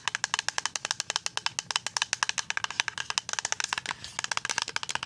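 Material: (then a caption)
Plastic. A full white plastic pump bottle of liquid hand soap, about 370 ml, is tapped with paper-clip-covered fingernails. The result is a rapid run of sharp, bright clicking taps that die away almost instantly, with no low end.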